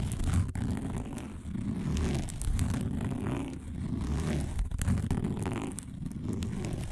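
Fingernails scratch quickly across a round, flat, dark woven plastic placemat. A continuous, dense rasping scrape with a heavy low rumble runs steadily for about seven seconds, swelling and dipping slightly in loudness without clear breaks.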